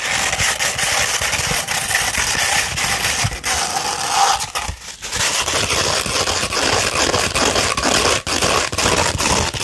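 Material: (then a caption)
Abrasive paper. A 240-grit sandpaper sheet, first rolled into a cone and then laid flat, is scratched with nails and fingertips. The result is a steady, dense, bright gritty rasp with little low end, dipping briefly near the middle before resuming.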